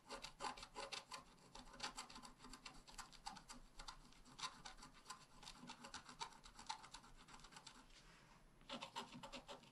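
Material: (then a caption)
Coated card. A wooden stylus tip scratches along the bottom grass area of a flat, black wax-coated scratch-art card, a solid thin page about A5 size lying on a table. Rapid short back-and-forth strokes make a dry, bright, raspy scraping that continues steadily, briefly eases just before the end, then picks up again.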